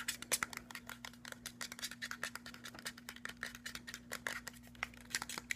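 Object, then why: Plastic bottle with metal cap. A tall, hollow, white cylindrical plastic skincare bottle with a silver metallic cap is held in hand and quickly tapped and scratched with fingernails along its body. A rapid, uneven stream of sharp, bright clicks and scratchy taps follows, each dying away almost instantly over a faint steady low hum.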